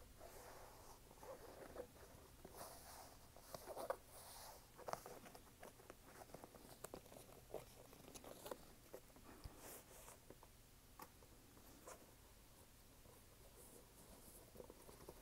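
A red canvas sneaker with white laces and a rubber sole is tapped by fingertips and nails, first on the sole and then on the canvas upper. The result is a quiet run of short, dry, crisp taps and light scratchy patter over a soft, steady background hiss.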